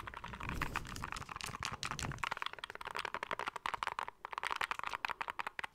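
Fingertips and nails tap rapidly across the back and sides of a small, hollow, grey plastic handheld game console. The result is a dense stream of short, dry, clicky taps with a hollow midrange tone and a bright edge. A low rumble under the first two seconds drops away, leaving crisper, sparser taps.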